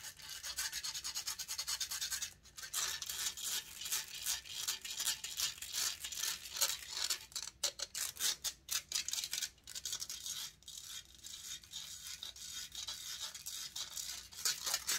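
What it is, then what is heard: Metal microphone grille being scratched. Long nails scratch rapidly and aggressively across the hollow metal mesh grille of a large silver condenser microphone, close up. The result is a dense, bright, rasping scrape with almost no low end, broken by a few brief pauses.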